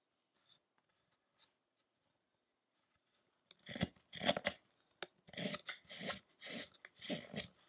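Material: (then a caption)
Wood. A metal gouge or chisel carves and scrapes the upper body of a solid, light wooden sculpture of the fasting Shakyamuni Buddha while the other hand steadies its head. A few faint ticks give way to a run of loud, crunchy scraping strokes with short gaps between them, each one dry and broadband with bright, rasping edges.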